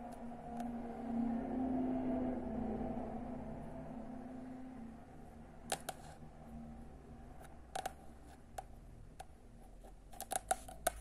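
Long nails scratch softly across the glossy sepia cover of a solid paperback book, "Samac," over a low steady hum. They then tap the cover in a series of sharp, dry clicks that stop almost at once, grouping into quick clusters near the end.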